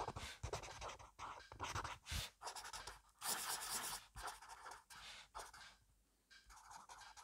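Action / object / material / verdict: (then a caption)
scrape / felt-tip pen on a paper notebook / paper / none. A black felt-tip pen held in the fingertips scribbles fast, messy handwriting across the grid page of an open, spiral-free paper notebook resting as a solid stack of paper on a wooden desk. Quick bursts of bright, dry scratching come in uneven strokes separated by brief pauses, with a soft low thump as the pen and hand work against the page.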